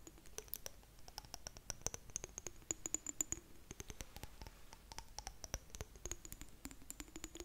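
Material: Glass.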